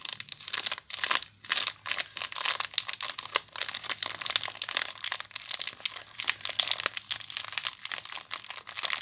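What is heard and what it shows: Fingers with long nails crinkle the clear plastic wrapper around a small bar of soap, close up. Dense, bright crackles and crisp crunches come in quick irregular bursts with almost no low end, each one stopping dry without ring.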